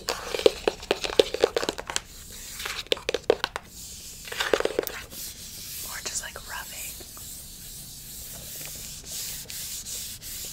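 Long acrylic nails scratch and rub the flat printed surface of a small, closed cardboard retail box for a sleep mask, held in hand. Quick clusters of crisp, dry scratches and clicks come in bursts over the first five seconds, then settle into a softer, continuous papery rubbing with a bright, hissy edge.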